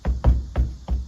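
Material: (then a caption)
Fabric-covered panel. Five hand taps land on the roof headliner of a Kia Morning light car, at the spot where a second-row center dome light will be installed. Each tap gives a dull, hollow, low thump with a short decay and almost no bright content. The sound is hollow because nothing is behind this spot, so it differs from the areas over the steel reinforcement frames.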